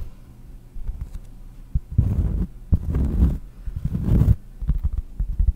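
Long nails tap a large, round, solid cork trivet held close to the mic, then scratch across it. The taps are soft, dull and low, and the scratching comes in three rougher, louder bursts of muffled rustle with almost no bright sound.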